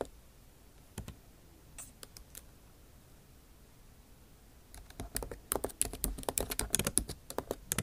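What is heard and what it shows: A backlit MacBook Pro keyboard with plastic keycaps in an aluminum body is typed on with long nail tips. A few scattered, quiet taps give way after about five seconds to a fast, dense run of sharp, bright clicks. The key sounds are crisp and short, with almost no ring.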